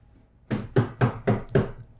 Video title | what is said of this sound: TTWJ Clips: Philip K. Dick on Reality | you could hear that that was me tapping the chair